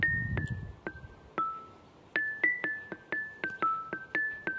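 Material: Limestone.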